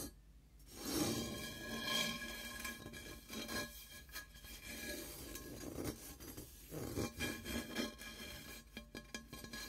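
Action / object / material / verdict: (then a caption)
scrape / frosted quartz crystal singing bowl / quartz crystal / none. Fingertips and short painted nails rub and tap along the outer rim and sides of a large, hollow, empty, smoky-white frosted quartz crystal singing bowl held in both hands, while a mallet lies unused nearby. Soft raspy rubbing and light taps sit over a faint sustained ring near 340 Hz, with steady high overtones lingering between touches.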